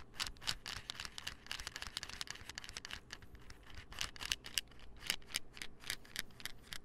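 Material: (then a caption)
Plastic. Fingernails tap and scratch on a small, hollow white plastic supplement pill bottle with a gold label and cap. The result is a rapid, irregular run of short, dry, bright clicks with scratchy texture, centered around 2.9 kHz, each dying away almost instantly.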